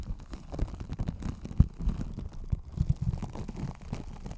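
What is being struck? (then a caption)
Microphone wrapped in plastic cling film. Long acrylic nails scratch and tap over clear plastic cling film wrapped around a hollow white spherical desk microphone, moving across its body and metal mesh grille. The sound is a dense, muffled crinkling and brushing with many short, dull thumps. It is almost entirely low and boomy, with no bright top end.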